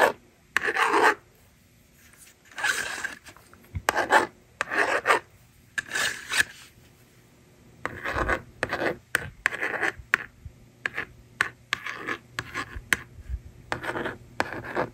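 A yellow plastic stylus rubs and scratches digits onto the honeycomb screen of a hand-held hollow plastic magnetic drawing board. Dry, raspy scratching strokes come in short bursts separated by quiet pauses, bright and mid-pitched with almost no low end. The later strokes come quicker and choppier.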